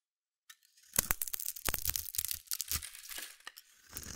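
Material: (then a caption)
Soap. A solid, hand-sized bar of blue soap held in one hand is shaved and scraped with a metal utility blade, peeling off crunchy curls. Dry, bright scratching and crackling comes in a run of short, irregular strokes, each with a brief low thud beneath the crisp high rasp.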